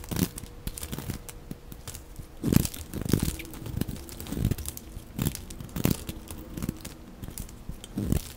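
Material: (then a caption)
Soap. A utility blade shaves curls off the edges of a dry, rectangular green solid soap bar held in the hand. Repeated short scraping and cutting strokes make crisp, crunchy crinkles with bright streaks over a mostly low, dull body. Each stroke stops quickly, with quiet gaps between them.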